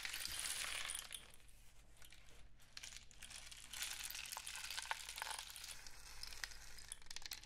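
A long hollow cardboard rain stick, wrapped in colourful painted paper with mesh-wrapped ends and filled with small pellets, is held in both hands and tilted and shaken so the filling cascades inside. It makes a soft, bright, hissing rush of pellets, dotted with tiny clicks and ticks over a faint low hum. The cascade is strongest at the start, fades, then swells again midway before trailing off.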